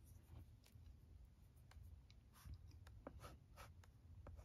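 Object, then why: Plastic LCD writing tablet and stylus. A stylus held in the fingers writes letters on a flat plastic LCD writing tablet with a blue screen. Short, soft scratches and light taps on the screen are heard over a low, steady background hum, with brief bright streaks as the stylus strokes and lifts.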